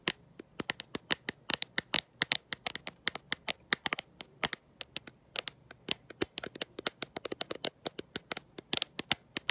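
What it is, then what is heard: Glass-backed smartphone. A black smartphone with a glossy glass back and no case, held in one hand, is tapped and scratched by long nails fitted with gold metal paperclips. Around fifty rapid, dry clicks and ticks sound, bright and high-pitched with faint scratchy rasps between them. Each hit stops instantly, with no ring.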